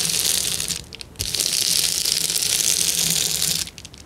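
A hand presses and crushes a sheet of clear plastic bubble wrap while fingertips scratch its surface, making a dense, bright crackling and rustling. The crackling briefly drops off near the one-second mark, then bursts back with a sharp snap and continues steadily before fading to softer scratching at the end.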